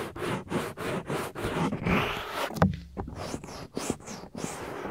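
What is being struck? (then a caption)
Silicone ear of a binaural microphone. Fingertips rub and scratch over the soft, solid, ear-sized silicone ear mounted on a white 3Dio binaural microphone. Repeated close, muffled rubbing strokes give a dense, low-heavy rustle. A sharp thump lands midway, then lighter, brighter scratches follow.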